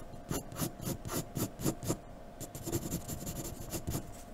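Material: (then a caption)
Paper. A graphite pencil in a blue holder scratches quick strokes across a flat white sheet of drawing paper lying on a dark table. About fourteen short, dry rasping strokes come in a fast, uneven rhythm, each with a bright scratchy edge over a soft papery body, and a faint steady hum stays underneath.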